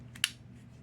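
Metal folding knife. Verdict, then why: Real. A genuine blue Spyderco folding knife made of metal has its action worked, giving a single crisp, bright click concentrated in the high frequencies that dies away almost instantly. A faint low hum sits underneath, and the sound is that of the real knife rather than a cheap clone.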